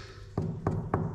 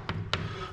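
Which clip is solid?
The first.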